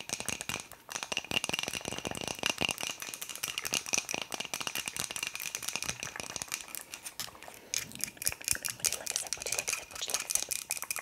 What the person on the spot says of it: 2:49 Tapping on wooden cup